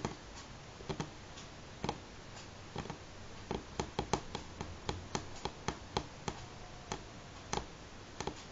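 Natural fingernails of both hands tap steadily on a solid, light pine-grain wooden tabletop. Around twenty short, dry clicks sound at an uneven pace, some in quick clusters, each dying away almost instantly over a faint low background hiss.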